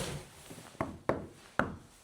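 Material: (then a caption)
Render. Three knocks on the render of an old château's brick wall, beside hollow brick that rang, sound quite dull with almost no ring, showing that the render no longer rings at this spot. The verdict is by ear only.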